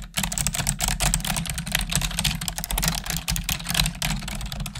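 Long nails and fingertips type rapidly on the keys of a black plastic desktop keyboard, making a dense run of bright, crisp clicks and clacks. A steady low hum sits underneath the typing throughout.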